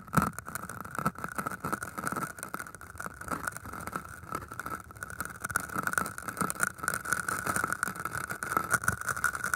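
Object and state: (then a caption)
Floral foam block scratched with wire. Thin metal wires are pushed into and scratched across the tops of two solid green floral foam cylinders. The result is a dense, continuous gritty scratching and crackling, with a steady squeaky tone in the midrange that runs through the whole clip and gets slightly louder toward the end.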